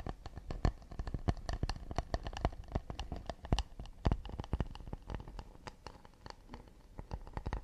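Fingertips and nails tap and scratch quickly on the back and rim of an empty, round, hollow acacia wood plate held in the hands. Dozens of short, dry, hollow knocks come in an uneven, rapid pattern, each dying away almost at once, with soft scratching between the taps.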